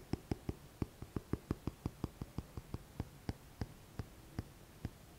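Fingertips tap and scratch the front cover and spine of a thick, solid paperback book with a glossy paper cover. Nineteen short, dull, low knocks land in a quick, uneven rhythm that slows and spaces out toward the end, each dying away almost instantly over a quiet background.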